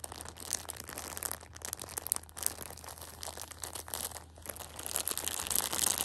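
A small Shopkins pocket tissue multipack in clear plastic wrap, full of tissue packs, is gripped, squeezed and scratched by a hand with long nails. The result is dense, bright, irregular crinkling and crackling of the plastic, with sharp scratchy bursts, that grows louder toward the end.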